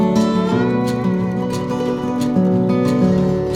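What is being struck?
Nothing is struck.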